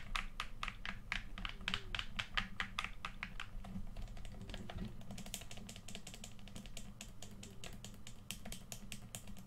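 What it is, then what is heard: Plastic game controller buttons. Thumbs tap and press the buttons and sticks of a hand-sized, hollow red plastic PS4 controller held in both hands. Rapid, short, bright plastic clicks come in quick bursts over a steady low hum. The taps are louder for the first few seconds, then turn lighter and thinner.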